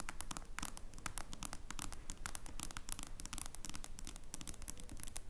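A smartphone lies face up on a wooden table while long blue nails on both hands tap its dark glass screen. The taps come as a fast, uneven stream of quiet, sharp, bright clicks that stop dead with no ring.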